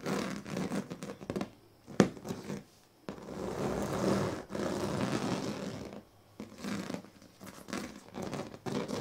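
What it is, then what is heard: Woven plastic sleeping mat. The tail and teeth of a pink plastic comb are scraped across the strips of a large, flat woven plastic sleeping mat. Short bursts of dry, rasping scratches are broken by quiet pauses, alongside two longer, steady scraping strokes in the middle. The sound is a fine, gritty texture centred in the low-mid range.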